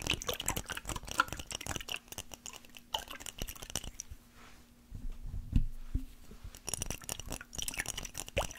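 A small clear glass mason jar with a metal lid, holding some liquid, is held in both hands and tapped and scratched with fingernails. Quick, light clicks and scratchy taps come in dense runs, with a soft slosh of the liquid partway through and a brief quieter lull. A faint steady low hum runs underneath the whole time.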